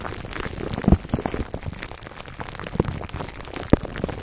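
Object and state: Plastic cling wrap scratched over a foam mic cover.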